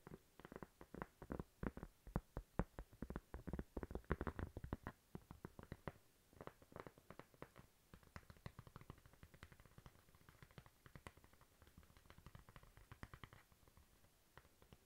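Long nails tap rapidly on a thin, flat, toast-shaped solid cork coaster held in the hand. The taps are dry, dull and short with almost no ring, landing in quick, uneven bursts. They are louder and denser at first, then continue more softly and lightly.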